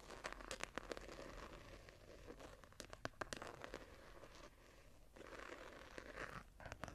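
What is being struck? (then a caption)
Hardcover journal with embossed foil-covered board cover. Long nails and fingertips of both hands scratch and tap the ornate embossed patterned foil cover of a small, closed hardcover journal lying on a table. Dense, dry scratching and rustling fills the clip, broken by sharp, bright taps that stop instantly with no ring.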